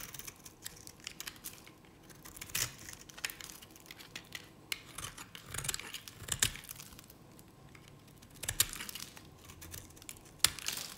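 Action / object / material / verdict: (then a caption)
scrape / bar soap shaved with a knife blade / soap / none. A utility knife blade shaves curls from a dry cream-colored bar of Nevskaya Cosmetics solid soap. It makes dry, crisp, bright scraping and crumbling sounds with sharp ticks and snaps, in uneven bursts with quiet gaps between them.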